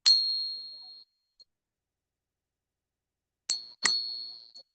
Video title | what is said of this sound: Saturday night hang out talking about silver. | it rings quite nice